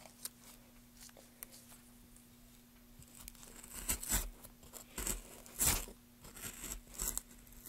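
A small wooden-handled carving gouge is pushed along the top face of a solid rectangular pale wood block, about 30 cm long and held in gloved hands, curling shavings off. Dry, bright scraping and tearing strokes come in irregular bursts over a faint steady low hum, with the loudest gouge cuts near the middle and end.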